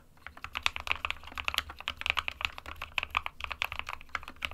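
Fingertips of both hands type continuously on a small 60% SK61 mechanical keyboard with a white plastic case and plastic keycaps, resting on a desk mat. About thirty quick, dry, bright clacks come in an uneven, steady stream, each dying away almost instantly over a faint low hum.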